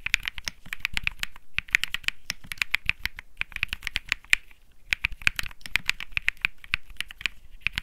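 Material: Plastic.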